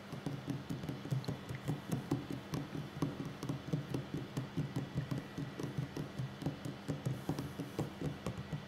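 The fingertips and short nails of both hands tap a solid wooden tabletop in a quick, steady series. Each tap is a short, low, muffled knock with a faint click on top, and the sound dies away almost at once.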